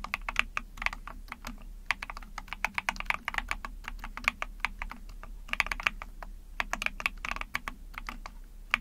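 Rapid typing on a small 44-key Epomaker TH40 mechanical keyboard, which has an ABS plastic case, a PC plate, pink and white keycaps and backlighting, using long painted nails and fingertips. Quick, uneven bursts of sharp, bright plastic clacks centered around 2 kHz stop almost instantly, over a faint low hum.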